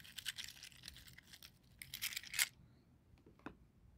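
A plastic mesh net bag full of dry scallop seashells lying on carpet is pressed, squeezed and rubbed through the netting by fingertips. Bright, dry crinkling and crunching scrapes build in bursts, peaking sharply just before the halfway point. After that, the sound drops to a few faint clicks and a soft tap.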